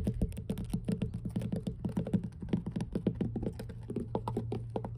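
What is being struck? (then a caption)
Wooden dock boards tapped with fingernails. Long blue nails tap and scratch rapidly across solid, weathered wooden dock planks, making a dense run of quick, dull wooden taps with short scraping strokes. Each tap dies away almost instantly over a steady low hum.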